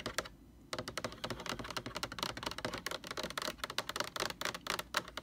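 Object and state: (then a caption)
Hollow plastic jug tapped with fingernails. Long orange nails tap and scratch on the sides of a large, hollow white plastic Lysol laundry sanitizer jug. Two quick taps come first, then a brief pause, then a rapid, steady run of crisp, bright clicking taps with faint scratching. Each tap is short and dry, with almost no ring.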